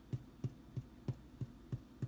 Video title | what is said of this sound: Russian Black Bread (Borodinsky bread) #1 | the bread is hollow when tapped